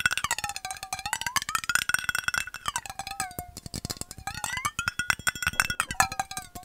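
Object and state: Metal bottle.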